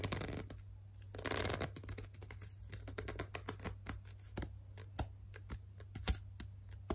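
Long dark nails grip and rub along the side of a hollow, white and mauve plastic No7 cleansing lotion bottle of about 200 ml. Two bursts of broad, hissy scratching give way to a long run of short, sharp clicks and ticks, one louder snap standing out near the end. A steady low hum sits underneath throughout.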